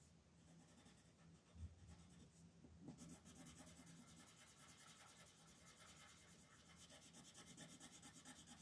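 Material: Paper.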